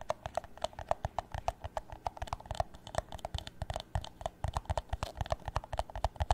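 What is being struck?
Thin plastic cup.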